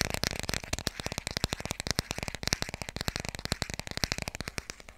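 Fast tapping on the cover of the hardcover children's book "Dikkie Dik" produces a rapid, uneven stream of about 34 short, dry taps over five seconds. Each tap is broadband with a bright top and a soft low thump, and it dies away almost instantly with no ring.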